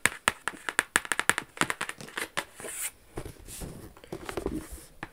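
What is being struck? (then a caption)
Cardboard gift box. Long yellow acrylic nails tap and scratch across the lid of a large, flat, dark-brown cardboard Versace box with a silver logo, which is hollow and closed. A quick run of sharp, dry taps comes first, then longer, bright, hissing scratches sweep across the lid, with a few more taps near the end.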